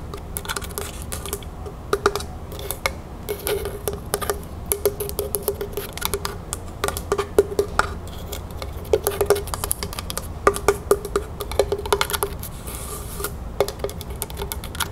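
Long fingernails tap quickly on the top of a small, hollow, lidded, dark rustic wooden box resting on a table. The result is a steady run of fast, dry clicks with a faint hollow tone around 400 Hz and almost no ring. Sharper taps stand out now and then over a low background hum.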